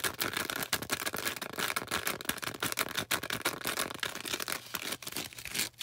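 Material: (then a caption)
Floral foam. Long orange nails scratch and tap a bright green porous floral foam star, producing crisp, dry, papery crackles and rapid, irregular taps. The sound is mostly high-frequency with almost no low end, and each tap dies away instantly.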